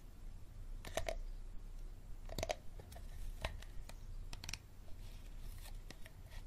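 Fingertips and nails tap and scratch the ridged bottom and sides of an empty, hollow, clear hard plastic water bottle. Short, dry, hollow clicks with a slight tone around 600 Hz and bright scratchy edges stand out over a soft, low background rumble. Each tap dies away almost at once.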